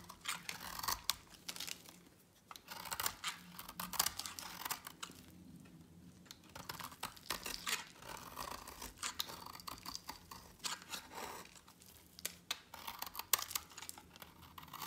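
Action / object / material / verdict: scrape / bar of soap cut with a blade / soap / none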